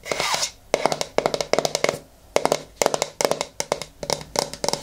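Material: Plastic.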